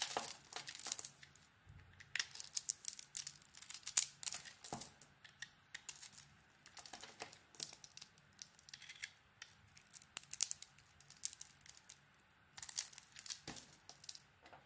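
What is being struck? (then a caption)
Bar of soap shaved with a small blade. A small metal blade shaves a solid soap bar, pink glitter coating over a white core, held in the hand, with dry flakes piling on the table. The sound is crisp, bright scraping and crackling that comes in dense bursts separated by short pauses. It has almost no low end.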